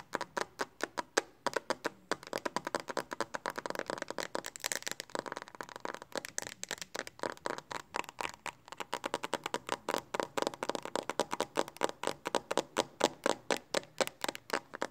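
Fingertips and long nails tap rapidly on the flat back of a pink hard plastic case on a smartphone held close by. Dozens of short, dry clicking taps come in a fast, steady run for about fifteen seconds, each one sharp and quick to fade. The tone is midrange and plasticky, with almost no bass.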